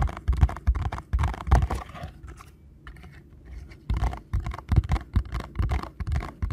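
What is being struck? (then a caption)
Small paperboard box. Fingertips tap rapidly on the front face of a small paperboard ankle support box, producing dull, hollow, low thumps in quick irregular bursts. The tapping eases into a softer stretch of light ticks in the middle, then picks back up with firm, fast taps to the end.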